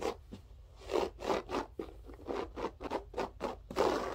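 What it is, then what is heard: Loop-pile carpet being scratched. Long nails rake and scratch across a grey loop-pile berber carpet floor with both hands, making about a dozen short, raspy strokes. Each stroke is a zipper-like scrape with a mid-range body and a bright, hissy edge, separated by brief quiet gaps.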